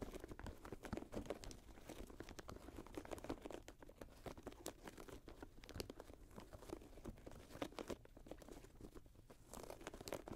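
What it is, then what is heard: Synthetic leather and mesh high-top sneaker. Fingernails scratch the synthetic leather and mesh upper of a grey Jordan Flight 45 high-top sneaker resting on a lap. The result is a quiet, steady stream of dry, crinkly scratches and soft crunchy ticks. Most of the sound sits in the low-mid range, with brief bright clicks that stop almost instantly.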